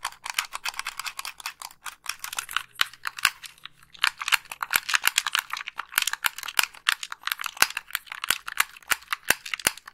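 Long pink nails click the buttons and scratch the hollow shell of a white plastic Xbox 360 gamepad. Dense, rapid, bright plastic clicks and tapping come in quick bursts with short scratchy passages between them. Each click is sharp and dry and dies out almost instantly.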